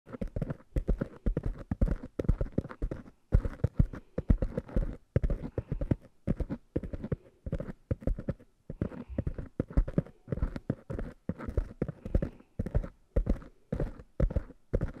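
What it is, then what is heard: Foam microphone windscreens tapped and scratched. Long nails and fingertips tap and scratch two small black, soft, porous foam windscreens on stand-mounted microphones. Rapid bursts of muffled, bass-heavy thumps come in rhythmic clusters, with soft scratchy rustling between them and a quick dry decay after each tap.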